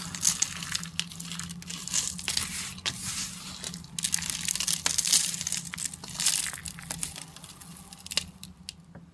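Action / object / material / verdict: scrape / soap flakes crumbled between fingers / soap / none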